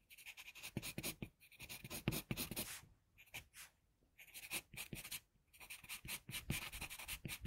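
A wooden HB pencil sketches steadily across a flat white drawing paper sheet. Quick, dry scratching strokes come in bright, hissy bursts with a faint low rasp, broken by two short pauses.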